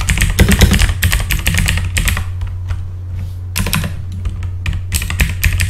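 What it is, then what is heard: Mechanical keyboard with plastic keycaps. Both hands type fast with their fingertips on a full-size backlit mechanical computer keyboard with plastic keycaps. Bursts of bright, clacky keystrokes rattle over a steady low hum, easing off briefly in the middle before the quick typing resumes.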